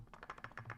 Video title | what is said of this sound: Cosmo Knives Prototype Pocketknife. Fablades Full Review | there's gonna be a little bit of rattling here when you just shake it